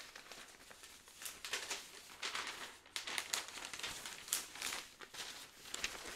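A large, thin and light folded Nordjyske newsprint newspaper is held in both hands while its pages are flipped and rustled with the fingers. The result is a series of dry, bright crinkling and crackling bursts of paper noise with almost no low end, each swell dying away quickly.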